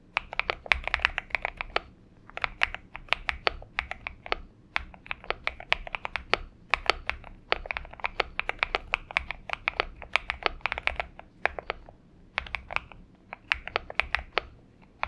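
Both hands type continuously on a purple-backlit Xinmeng M71 70% mechanical keyboard with an aluminum case and PBT keycaps, resting on a desk mat. Rapid bursts of short, sharp, bright clacks around 2.3 kHz die away almost instantly, with brief pauses between flurries and little low-end thump.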